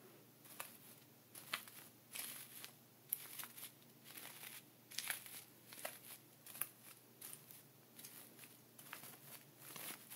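A thin dark wooden pointer traces and scratches lines through a layer of coarse sea salt inside a small clear plastic ziploc bag lying flat on grey fabric, while the other hand holds the bag. Quiet, bright, grainy scratches and crinkles come in short repeated bursts, with the plastic crackling and the salt crunching beneath.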